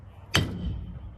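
A small, roughly 55-pound new Harbor Freight iron anvil in the back of a truck is tapped once with a hammer. It gives a single short, dull thud with a low body and almost no ring, quickly fading out. This poor ring, compared with an antique anvil's bell-like tone, suggests poorer iron structure.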